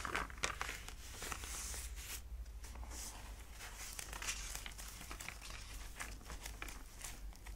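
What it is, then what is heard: Old paper book, pages turned. Fingertips lift, rub and turn the thick, aged paper pages of a large antique book lying open on a cloth. The clip is filled with soft, continuous paper crinkling and rustling, with brighter crisp crackles as pages move. A steady low hum sits underneath throughout.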